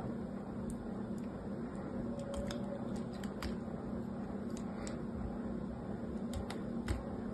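A small, solid rectangular bar of blue soap with a purple layer is held in one hand over a pile of soap shavings while a small metal knife blade carves and scrapes its surface. Soft, crisp scraping clicks with bright edges sound over a steady low background hum.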